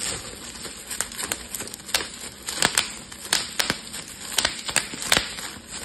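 A clear, air-filled plastic bubble wrap sheet is held in both hands while fingers pinch and pop the bubbles. An irregular series of short, sharp, bright pops rises over a steady crinkling hiss of the plastic, each pop dying away almost instantly.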